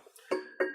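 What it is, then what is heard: Hollow metal speaker stand, ringing. An unfilled, hollow metal speaker stand column is tapped with sharp knocks that each leave a tonal ring around 370 Hz, with higher overtones lingering briefly. The ringing is undesirable in a speaker stand but natural for a hollow column.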